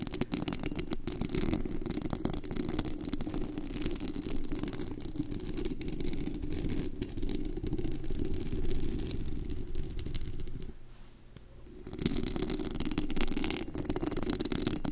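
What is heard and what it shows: Long acrylic nails on both hands scratch and tap the hollow, white-painted metal mesh grille on top of an uncovered, glitter-wrapped USB microphone. The result is a dense, continuous rattling scrape with a heavy low-end rumble and a brighter scratchy texture above it. The sound eases into a quieter lull around 11 seconds before the full scratching picks back up.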